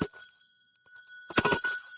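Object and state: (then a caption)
Brass hand bell with a clear ring. A vintage brass hand bell with a wooden handle, just over six inches tall, is rung to call everyone to dinner. Its clear, bright ring holds a steady high tone that sustains between strikes. It has a nice, fairly loud ring.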